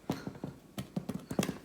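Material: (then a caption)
Bread. A braided tresse loaf, shaped like a rose, egg-washed and baked for half an hour at 200 degrees, is knocked on in a quick series of short, hollow, dull taps. Each knock is low and woody with almost no ring, showing the bread is done.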